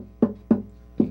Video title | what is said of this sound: Belize Watch 2012 Guitar making with Dale Wallace August 3, 2023 | it's going to have a nice sound